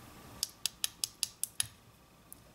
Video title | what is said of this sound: 💖 How I Build My Nails ~ Quick & Easy ~ Gel & Dip Powder 💖 | they definitely sound like acrylic or gel nails